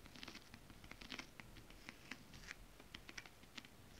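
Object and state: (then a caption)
Nails tapping on holographic scale-print fabric. Long acrylic nails tap on a flat, holographic, mermaid-scale-print fabric. The sound is a quiet, irregular patter of short, bright clicks over a soft, scratchy rustle, and each tap dies away almost instantly.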